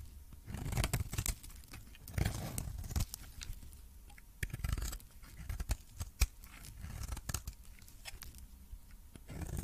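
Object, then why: Coated bar of soap cut with a metal blade. A metal blade cuts into a coated pink and purple solid soap bar and scrapes off shavings. The result is a run of crisp, crunchy scraping and tearing bursts with bright crackle over a dull low-end thud, separated by short quiet gaps.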